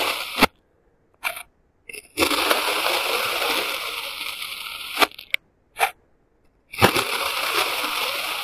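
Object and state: Kinetic sand being cut and scraped.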